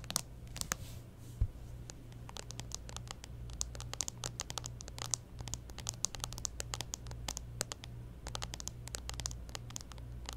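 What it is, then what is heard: Smartphone in plastic case, scratched and tapped. Long nails scratch and tap along the top edge of a clear plastic case on a smartphone held up at an angle. Rapid, dry, bright clicks and short scratches come in quick irregular bursts, each dying away almost instantly, over a steady low hum.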